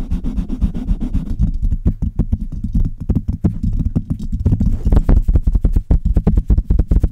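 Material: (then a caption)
Metal mesh. Long red nails and fingertips tap and scratch the hollow metal mesh grille of a Blue Yeti microphone. The result is a dense run of quick, boomy, low thuds with short scratchy rasps between them, with almost all the energy down in the bass. The tapping speeds up into louder, sharper bursts in the second half.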